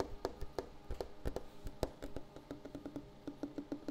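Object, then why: Wooden table top. A wooden table surface is tapped 21 times in an uneven, quickening rhythm. Each tap is short and dry with a dull low thump and a faint hollow tone that dies away almost instantly.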